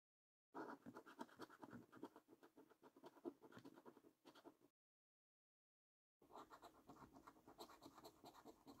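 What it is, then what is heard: Scratch card being scratched off. A coin scratches the scratch-off coating on a thin, flat paper scratch card in short, rapid strokes, making a dense, gritty rasp centered in the low mids. The scratching runs for about four seconds, stops for a short silence, then resumes until the end.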